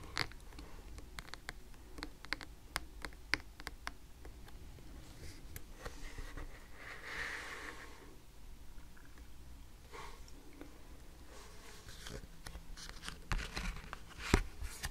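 Long red nails tap and scratch on and around a stack of thick laminated cardboard flash cards with a pink "Numbers" cover, resting on a table. Quiet, sharp clicks are scattered across the clip, with soft scraping in between over a low background hum.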